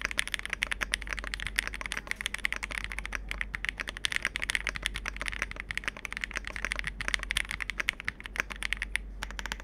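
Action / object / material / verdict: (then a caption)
tap / plastic mechanical keyboard / plastic / none. Two hands type rapidly with their fingertips on a Capsule 65, a compact 65% mechanical keyboard with a dark hollow case with foam, an FR4 plate, and black and multicolour plastic keycaps. A dense, continuous stream of short, sharp clacks is heard, bright and centred around 2 kHz, with each keystroke dying away almost instantly. A faint steady low hum runs underneath.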